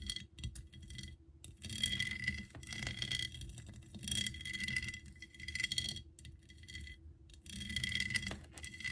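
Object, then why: Ceramic Eiffel Tower figurine. Long nails tap and scratch the upper and lower sections of a hollow ceramic Eiffel Tower figurine with an embossed pattern. Quick, bright clicks and dry scraping come in bursts with short pauses between them, over a faint low hum.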